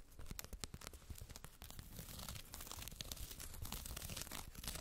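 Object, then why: Faux fur fabric makeup bag with woven label. Long red acrylic nails scratch the woven "BEAUTY BAG" fabric tag and fur surface of a soft white faux-fur zippered makeup bag, closed and lying on a fluffy rug. The result is a dense, continuous run of quick scratchy, crinkling rasps with a soft low rumble and bright hiss throughout.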